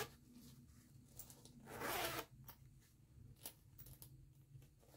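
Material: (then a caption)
Nylon. Fingers with long nails pinch the pull of a green nylon zipper on a small floral canvas pouch and zip it. Quiet rustling and light ticks surround one louder, bright rasping zip near the middle, followed by softer clicks of the pull.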